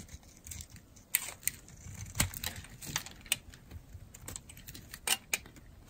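A metal blade scrapes and carves shavings from the edge of a solid, dry, red-and-white striped bar soap. The result is a series of crisp, bright scraping clicks and short crackles that come at irregular intervals, with a faint low rustle between them.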